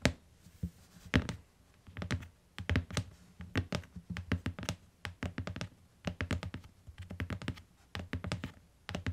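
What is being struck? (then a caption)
Hardcover book with paper-covered board covers. Long acrylic nails on both hands tap the front cover of a closed beige hardcover book, with a solid paper block and board covers, lying on a fluffy rug. Quick bursts of soft, dull, thuddy taps with a low body and clicky tips come in irregular clusters. Each tap dies away almost at once.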